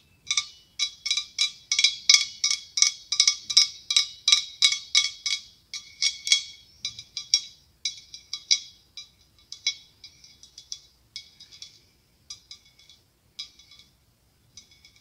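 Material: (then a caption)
Glass. Long acrylic nails tap the ribbed body of a large, hollow decorative pumpkin made of opaque white blown glass with a curled clear glass stem. The result is about 32 short, bright, clicky glassy ticks with almost no ring. The taps come in quick bursts at first, then grow sparser and quieter.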